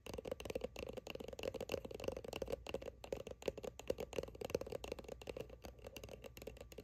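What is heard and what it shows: Long nails tap rapidly on the label of a soft plastic sunscreen squeeze tube that is held close and appears filled. The result is a quick, steady run of short, dry clicking taps with a hollow tone around 535 Hz that die away almost instantly.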